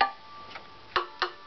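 A wooden violin tuning peg is tapped three times, each producing a short, dry tick with a bright tone around 800 Hz that dies away quickly. Compared with the reference, its tap tone is too low.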